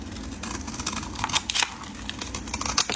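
A metal utility blade shaves flakes from the end of a solid, speckled orange bar of soap, hand-sized and held in the hands. Crisp, bright scraping and crackling cuts come in quick, dry bursts over a steady low rumble, with a few louder shaves standing out.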